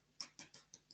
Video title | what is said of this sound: Webinar: Belfast und Nordirland erleben mit Event Partners Ireland | if it sounds hollow like that, it's cooked